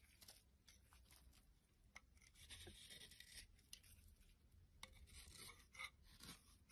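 A solid white bar of soap held in the hand is carved and scraped with a metal blade, shaving off flakes and slivers. Quiet, bright, raspy scraping strokes come in an irregular series of short cuts with soft crumbly tearing between them.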